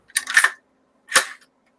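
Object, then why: Polymer rifle part. An ultra-light polymer composite lower receiver of an AR-style rifle is tapped in two quick bursts of short, dry, clicky knocks. The knocks are bright and hollow, with no low-end body and almost no ring. The part sounds plasticky and cheap.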